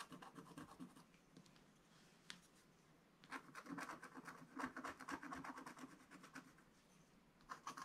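A wooden stylus scratches fine strokes into a black-coated scratch-art card page in a spiral book. Short, quiet, dry scratching strokes come in uneven bursts, with a sharp click near the middle, then a busier run of quick strokes. Softer passages and a brief final flurry follow.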